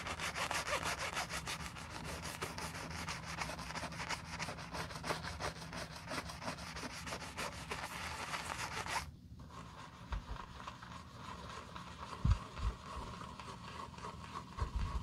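A wooden-handled bristle brush scrubs soap foam over the upper of a black glossy leather loafer, making fast, rough scratchy strokes with a bright hiss. Around the nine-second mark the brushing stops abruptly, leaving quieter, softer rubbing and a few low bumps.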